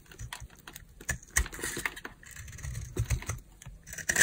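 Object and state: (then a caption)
Dry bar soap being carved. A utility knife blade scrapes and carves a solid green oval bar of dry soap held in the hand, shaving it into crunchy flakes. Irregular dry crackles and short scraping bursts come in quick succession, each with a bright edge and a soft low thud and almost no ring. The loudest crunches land near the end.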